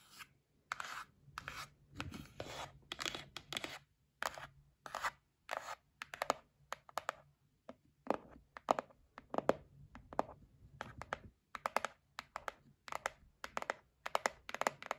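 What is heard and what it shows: Long nails tap and scratch the lid of a white printed cardboard gift box held in the hands. The result is a quick run of short, dry taps and scratchy strokes, with a papery mid-range and bright edges that stop almost at once, separated by brief silences.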